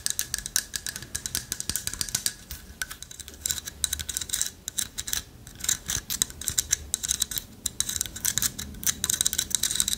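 Long nails scratch and tap the hollow lattice body of a light wood carved owl figurine held in one hand. The result is a dense stream of quick, dry, bright clicks and scrapes with almost no ring, mixed with faint soft rustling.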